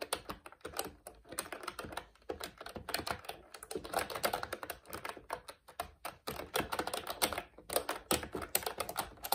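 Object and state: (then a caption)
Plastic mechanical keyboard being typed on. Both hands type steadily with their fingertips on a plastic retro mechanical keyboard with a cream frame and round black plastic keycaps, pressing and releasing the keys. A rapid, uneven stream of short, dry, bright clacks runs throughout, with little low end and almost no ring after each keystroke.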